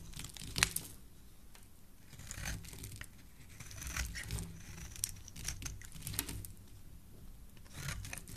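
A hand-sized solid bar of pink soap, held in the hand, is scraped along its edge with a metal blade, shaving off flakes. The quiet clip carries a series of crisp, bright scraping and crinkling strokes, with one sharper burst near the start, over a steady low rumble.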